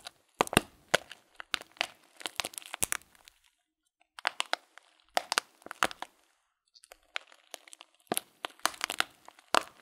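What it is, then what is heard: Plastic bag of loose fruit tea. A tall, clear plastic bag full of loose dried fruit tea is pressed and crinkled by thumbs. Bursts of sharp, bright crackling and crinkling come in clusters, separated by brief silences, with each snap dying away almost instantly.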